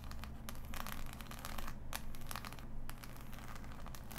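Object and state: Cardboard jigsaw puzzle.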